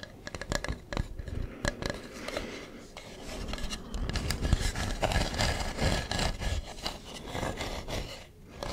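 Fingernails rub and scratch the ridged carving of a hollow carved wooden mask held close to the mic. Quick, uneven scratchy clicks give way to a steadier, grainy rubbing and scraping that rises and falls. The sound has a dull, hollow low body with a bright, gritty edge on top.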